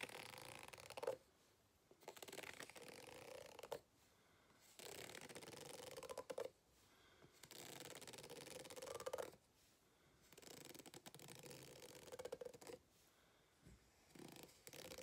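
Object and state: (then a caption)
Rubber hot water bottle scratched. A white plastic fork is scraped and tapped along the ribs of an empty-looking green ribbed rubber hot water bottle lying flat on a table. It makes bursts of dry, rasping scratching with a faint tone around 530 Hz, separated by short quiet pauses.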